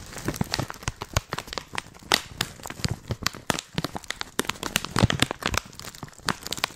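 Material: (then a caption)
Plastic. A hand-sized, filled white printed plastic tea pouch is crinkled and scratched with long painted nails and fingertips. Dense, dry crinkles and sharp crackles with no lingering ring spread from deep to bright tones.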